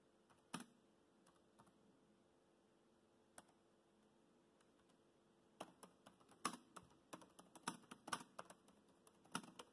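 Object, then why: Plastic laptop keyboard keys. Fingertips tap the black plastic keys of a laptop keyboard while typing, producing short, crisp clicks that ring out almost instantly. A few scattered taps come first, then after about five seconds the typing turns into a quicker, irregular run of clicks over a faint steady background hum.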